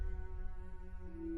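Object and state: Nothing is struck.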